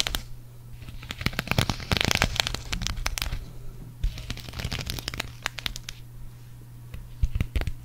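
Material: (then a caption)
Sequins. Long acrylic nails scratch and rub a green sequin cactus patch, first on its fabric back and then on its sequin front. The sound is a dense run of sharp, bright clicks and crinkly rasps that come in bursts with quieter gaps, over a steady low hum.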